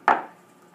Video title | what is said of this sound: Simmons Rana Speed Skating Casting Instructions by David Simmons | if it sounds like that then it's getting hard